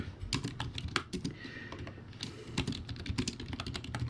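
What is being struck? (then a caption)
Plastic keyboard with round keycaps. Fast two-handed fingertip typing on a low-quality, backlit plastic typewriter-style keyboard with round white plastic keycaps. It produces a rapid, uneven stream of short clacky keystrokes, each a dull plasticky thud with a bright click on top. Every stroke dies away almost instantly.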